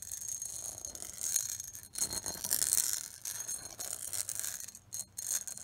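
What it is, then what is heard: Pressed glass bowl. Long acrylic nails tap and scratch the outer diamond-patterned surface of an empty, medium-size, hollow clear pressed-glass bowl. The sound is a continuous run of quick, bright clicks and scrapes with very short ring, rising and falling in loudness with brief pauses.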